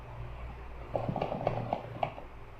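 A cardboard delivery box holding a racing exhaust muffler for a Kawasaki 250R is shaken to guess what is inside. Six dull knocks and rattles are heard as the metal item shifts and bumps inside the box over a low background hum. It sounds like a metal item is inside.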